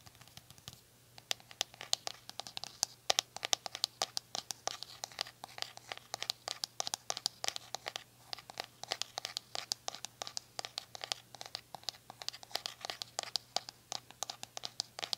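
Long nails tap and scratch the plastic shell of a purple glittery hollow plastic detangling brush held in the hand. Rapid, sharp, bright clicks and scratchy strokes come in a dense, uneven stream over a faint steady low hum.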